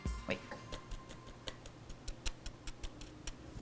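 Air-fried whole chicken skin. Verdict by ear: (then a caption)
Crisp. The crispy skin of a whole chicken, halfway through air-frying, is tapped about 14 times, giving short, dry, crackling ticks over a low background hum. The skin sounds crisp, which is why the air fryer suits whole chicken.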